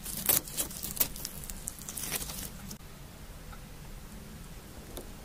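Green glitter slime, a soft sticky solid, is pulled apart and squeezed together with the fingertips of both hands just above the recorder. Bright, wet crackles and sticky pops come in quick bursts over the first two and a half seconds over a steady low rumble. The clip then settles into a quieter hiss, with one last faint pop near the end.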